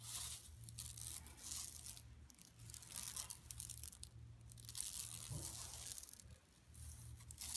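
Long pink nails on both hands scratch across a large, flat, yellow striped woven plastic mesh tote bag with a Buffalo Exchange print, lying empty on carpet. The result is a continuous bright, crackly, rasping texture that swells and fades in waves over a steady low hum.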